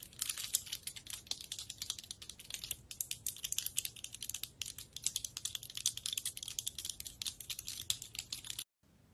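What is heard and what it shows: Long red nails rapidly tap and scratch the woody scales of a large, dry brown pine cone held in both hands. The result is a dense, fast stream of crisp, dry, bright clicks and scrapes with almost no low end and no ring. The sound cuts off abruptly just before the end.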